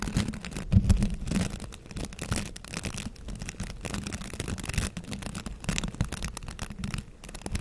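Fingertips run and scratch across the stiff bristles of a green plastic scrub brush with a handle loop, held close. The result is a dense, continuous bristly rustle with a deep, low-heavy body and rapid flicking scratches, loudest near the start and then settling into a steady texture.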